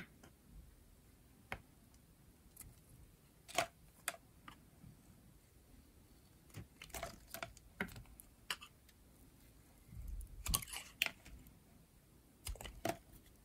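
A metal utility blade shaves long curls from a dry, dark blue, rounded rectangular bar of solid soap with a snowflake print. The result is a series of short, crisp, bright scraping clicks with no ring, separated by quiet pauses over a faint low background hiss.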